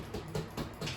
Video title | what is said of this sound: Green and Gold | that's when you tap it, sound hollow as, and that's all you need.